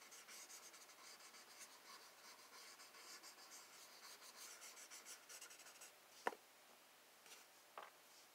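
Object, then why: Paper sketchbook page. A paper blending stump held in the fingers rubs and scratches in small circular motions over a pencil-drawn rose on a flat sheet of spiral-bound sketch paper, resting on a wooden desk while the other hand steadies the page. For about six seconds there is a soft, steady, bright shading hiss with a gentle rhythmic pulse. It then stops, leaving near silence broken by a sharp tap and a fainter click.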